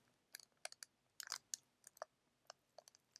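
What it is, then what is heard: Plastic tea sachet. A small, green, printed plastic-laminate tea sachet, flexible and filled, is held in both hands and crinkled and scratched with the fingertips. It makes a quiet series of short, bright, crisp crackles and clicks with no low end, with a denser cluster near the middle and each snap dying away at once.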